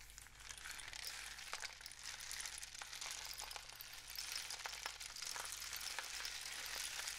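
A long, hollow rain stick, apparently a cardboard tube painted with suns and dots, with one end wrapped in mesh and loose filling inside, is held in both hands with fingertips resting on the tube as it is tilted and shaken. The filling gives a steady, bright, hissing cascade full of fine crackling patters and scattered sharper ticks. The sound stays at an even level throughout, with almost no low end.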